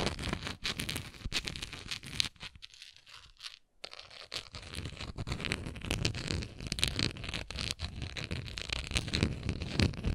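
Long nails scratch the bumpy surface of a hollow, textured, translucent plastic Tums bottle holding tablets. The result is dense, crackly, bright scraping with rapid irregular clicks. It drops to a brief near-silent pause just before the four-second mark, then resumes steadily to the end.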